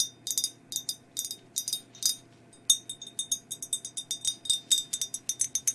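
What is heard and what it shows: Long nails tap a hollow, empty glazed ceramic skeleton mug near its rim and body in a quick, uneven series of light clicks. Each tap gives a bright, thin clink with a faint ring near 3.6 kHz that dies away almost at once, with no low end.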